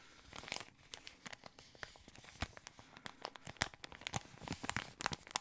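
An empty, thin, yellow patterned plastic ice cream wrapper is crinkled with the fingertips. It makes a quiet, continuous run of sharp, bright crackles and tearing-like rustles, with louder snaps scattered throughout and no lingering ring.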